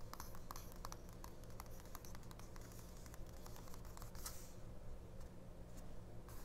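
Long nails and fingertips tap and scratch across the printed text and a car ad on one open spread of a small 1999 paper mini-book, a paperback booklet lying flat on a fabric cloth. Quiet, dry, short clicks and papery scratches repeat throughout over a steady low hum.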